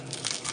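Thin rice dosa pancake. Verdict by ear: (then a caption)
Crisp. A thin dosa made with pudding rice is cut in half, giving three quick bright crinkling crunches over a faint papery hiss. The dry, crackly sound shows the dosa is crisp.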